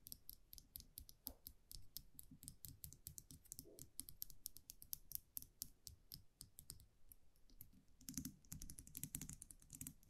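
A small wire champagne cork cage (muselet) with a round metal cap is held in the fingers while long nails tap and scratch the cap. Quick, sharp, bright clicks come in a rapid, uneven stream over a soft low handling rumble, with a denser burst of scratching near the end.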